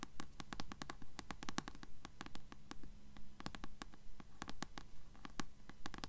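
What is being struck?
Paperback book with paper cover.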